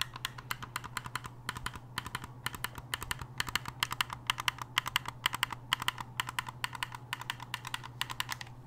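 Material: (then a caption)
Plastic. Rapid button clicks and fingernail taps on the shell of a black, hollow, hard-plastic gamepad. They come as fast, irregular bursts of short, dry, bright clicks with no ring. A steady low hum runs underneath.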